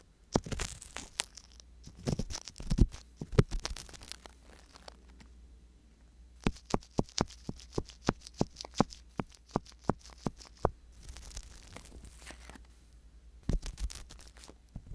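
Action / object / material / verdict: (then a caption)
scrape / silicone ear of a binaural microphone, scraped with an ear pick / silicone / none. An ear pick scratches inside the canal of the left silicone ear on a binaural microphone. The scrapes come in quick, dry bursts of clicks and crinkly scratches, with a steady low hum underneath and short quiet gaps between the clusters.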